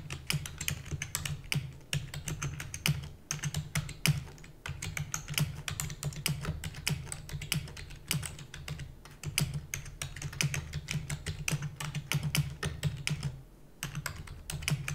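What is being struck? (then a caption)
Plastic computer keyboard. Fingertips with long natural nails type rapidly on a full-size black plastic computer keyboard with plastic keys and a hollow housing. A dense, steady stream of sharp, bright clacks rides over a constant low hum, with only brief lulls near 3, 4.5 and 13.7 seconds. Each keystroke dies away almost instantly.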